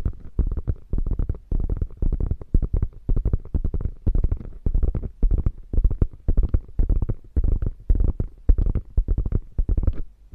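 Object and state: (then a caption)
Quilted faux leather bag. Long painted nails scratch and tap the quilted flap of a small, hollow, beige quilted faux leather crossbody bag lying on a fur rug, then grip its edges. The result is a steady run of dull, deep, muffled thumps and scratchy bursts in an uneven rhythm, each dying out almost instantly with no ring.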